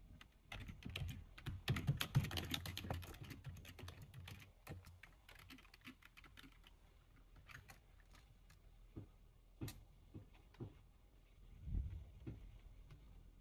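A full-size black plastic computer keyboard is typed on with the fingertips of both hands. A dense, rapid flurry of keystrokes fills the first four seconds, then the typing thins to scattered, irregular clicks with a few louder, deeper key thumps near the end. Each keystroke is a short, dry clack with a low body and brief bright tick.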